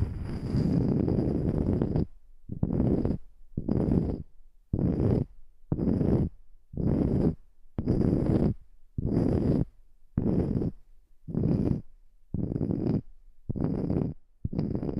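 Long nails tap and scratch the top face of a round, palm-sized, solid natural wood slice coaster with a bark edge, held above the microphone. The sound comes as a steady run of short, low, dull, rasping bursts, about one per second, with brief quiet gaps between them.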